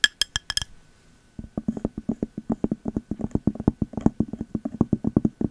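Long metal nail caps tap a clear glass candle jar with a cork lid. A few bright, ringing clinks on the glass are followed by a short pause, then a long run of quick, dull, muffled taps on the cork lid.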